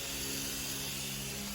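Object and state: Nothing is struck.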